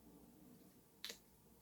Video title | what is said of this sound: By Popular Demand - Flowercare You can doi it! #flowerpower #flowers #diydecor#beautiful | you hear that nice crisp sound? That means they're so nice and fresh